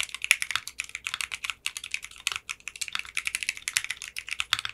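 Fingertips with short manicured nails type steadily on a 60% mechanical keyboard with clear pink polycarbonate keycaps. A rapid, continuous run of short, bright clacking keystrokes, each dying away almost instantly, is heard, with no low-end thump.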